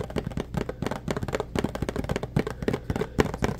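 Fingertips and nails tap rapidly on the sides of a small pink printed cardboard box held in the hands, which seems hollow. The result is a quick, steady run of short, dry, muffled knocks with a low hollow resonance and almost no bright edge.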